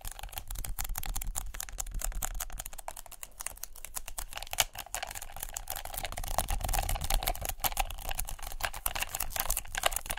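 Long nails tap rapidly and irregularly on a hand-sized white adhesive paper lint roller with a black plastic handle. The result is a dense stream of short, dry, bright clicks over a steady low rumble, with a sharper, louder tap near the middle.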